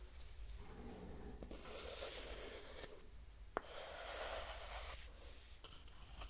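A small, solid, light pine-wood hexagonal block held in one hand is scratched and tapped with long manicured nails. Long, bright, hissy scratching passes are broken by a single sharp tap, over a faint low hum. The sound is quiet and dry, with no ring after the tap.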